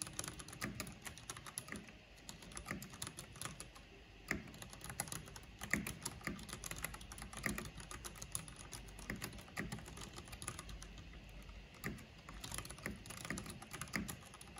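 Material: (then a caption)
Plastic. Long painted fingernails and fingertips rapidly tap the keys of a full-size black plastic mechanical computer keyboard with a purple backlight and a hollow housing. The result is a steady stream of short, sharp clicks and clacks with a bright edge and a hollow low thud under each keystroke, each dying away almost at once.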